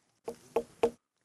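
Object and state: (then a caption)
Ripe watermelon. A watermelon's rind is knocked three times, giving clear, hollow mid-pitched knocks with a short ring. The melon is judged well ripened, since a clear sound when the rind is tapped means the watermelon is ripe.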